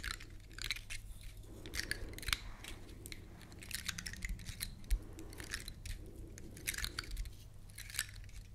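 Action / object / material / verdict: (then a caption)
scrape / woody pine cone scales / wood / none. A large, elongated, dry brown pine cone with solid woody scales is held upright while long nails scratch and tap across its scales. The result is a steady run of crisp, dry, bright clicks and crackly scratches over a soft low rumble. Each click dies away almost at once.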